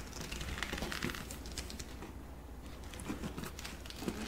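A medium red glossy patent leather handbag with gold-tone hardware, hollow and apparently empty, is held up by its handles and squeezed with fingertips. The leather gives off soft, quiet crinkling and crackling in irregular bursts, with a brief lull midway.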